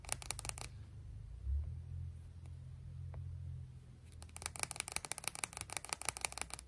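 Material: Stone.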